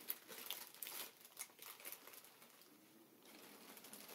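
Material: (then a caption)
Plastic film. A strip of clear, hollow, air-filled plastic air cushions lying on a table is pressed, tapped and scratched by both hands with fingertips and nails. Bright, crisp crinkling and quick scratchy taps come in an irregular burst for the first two seconds, then fade to a softer, steady rustle.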